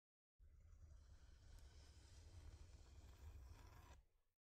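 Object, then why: Thin flat wooden board. Long nails scratch across a thin, flat, solid wooden heart-shaped plaque. The result is about four seconds of steady, dense scraping with a deep low rumble and a faint bright rasp on top, which cuts off cleanly at the end.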